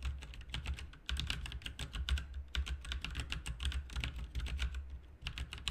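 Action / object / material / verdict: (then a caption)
tap / plastic mechanical keyboard / plastic / none. Both hands type with their fingertips on a backlit RGB mechanical keyboard with plastic keycaps. The result is a steady stream of quick, bright key clicks over a low hum, with brief pauses between bursts.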